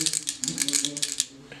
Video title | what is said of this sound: Sight Paint | if I shake it, you hear a little ball, just to make sure the paint is properly mixed in